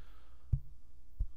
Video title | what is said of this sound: Stage Right LC200 Multi-Pattern Condenser Microphone By Monoprice - Test / Review | it is a very thin cheapish metal